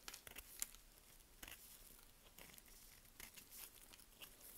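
A small curved knife, held in gloved hands, cuts and scrapes crumbly chips off a solid, dry green bar of soap that is already partly carved. The result is a series of crisp, bright scraping and crunching cuts over a quiet background, with sharp, high crackles that stop almost at once.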